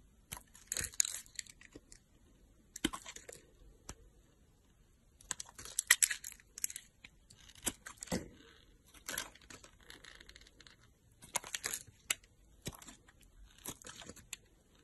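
A solid pink soap bar, held in the hand by long nails, is cut and scraped with a utility knife blade. Short bursts of crisp, bright scraping and crunching alternate with sharp clicks and quiet pauses, with little low end.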